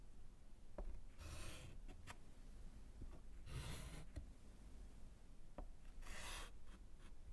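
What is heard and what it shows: A gloved hand draws lines with white chalk along the bottom of a small slate chalkboard in a wooden frame lying flat, scratching the slate. Bright, hissy scraping strokes alternate with short dry ticks and taps. A steady low rumble runs underneath throughout.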